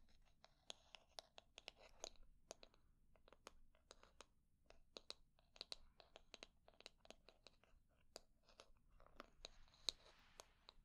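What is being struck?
Back of a wooden hair brush tapped and scratched with nails.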